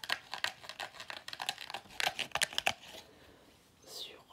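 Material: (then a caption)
Paper. Fingers squeeze and tap the black plastic or rubber end cap of a hollow pleated paper vacuum cleaner filter and rub its paper pleats. The result is a rapid run of dry, bright crinkling clicks and crackles that grow sharper toward the middle, then fade into near silence. A soft swishing rub swells and fades near the end.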